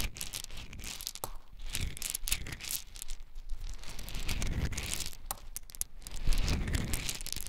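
Hands scoop handfuls of small, hard, dry brown beans from a large layer spread on a dark surface, let them fall, and rub them through the pile. The result is a dense, continuous rattling and crunching, with many quick bright clicks of individual beans over a low rustling rumble that swells as the pile is stirred.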